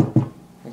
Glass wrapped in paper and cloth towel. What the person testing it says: Et là, c'est solide. On peut cogner et ça casse pas.